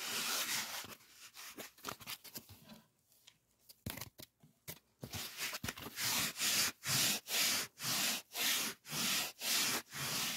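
A solid white polyethylene packing foam sheet is rubbed and scratched with fingertips close to the mic. Soft, irregular bright scratching with short quiet gaps gives way to louder, steady rhythmic strokes at about two per second, each a dry, hissy, high squeak-scrape.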